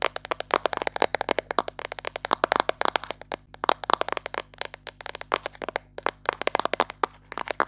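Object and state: Plastic cream jar.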